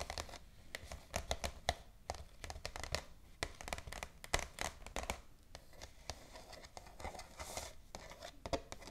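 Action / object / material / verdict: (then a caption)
tap / glossy paper shopping bag / paper / none. Long acrylic nails tap and scratch across the surface of an empty white glossy paper shopping bag with black ribbon handles, lying flat on a table. Crisp, dry clicks and papery scrapes come in quick, uneven bursts with bright crinkly edges, and each tap dies away almost instantly.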